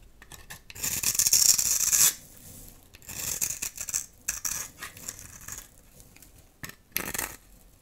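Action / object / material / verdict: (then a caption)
scrape / bar of soap scraped with a metal knife blade / soap / none. A dry, solid blue soap bar held in the hand is rasped and scraped with a metal utility knife blade, producing grainy shavings. A loud, bright, gritty scrape runs from about 1 to 2 seconds, followed by quieter, uneven scraping strokes and small clicks, then a short final burst near 7 seconds. The sound is almost entirely high and hissy, with very little low end.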